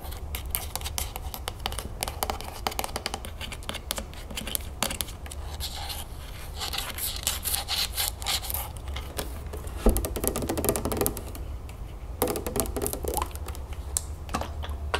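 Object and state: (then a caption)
Plastic juice bottle with cap, tapped and scratched. Long nails tap and scratch the green plastic cap of a full plastic lemonade jug, then tap its plastic body. The result is a dense stream of quick, dry clicks and scraping rasps with short bright edges, over a steady low hum.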